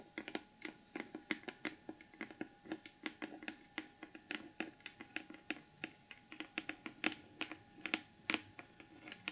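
Both hands rapidly tap the lid of a large, closed, hollow rectangular cardboard gift box with a gold glitter finish, using the tips of long almond-shaped acrylic nails. Around forty quick, uneven taps sound as short, bright clicks over a faint hollow tone, each dying away almost instantly. The overall level is quiet.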